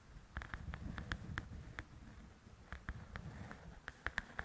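Long nails tap and scratch the glossy cover of a large, flat paperback coloring book. Quick, crisp taps come in two loose bursts with a quieter stretch between them, each tap a short click over a soft, low scratching rustle.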